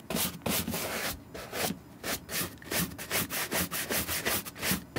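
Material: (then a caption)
Suede. A wooden horsehair brush dusts off the dry suede upper of a hand-held green Nike SB Air suede sneaker with a gum sole. About sixteen quick, uneven strokes sound as soft, bright scratchy swishes with a slight low thump on each pass.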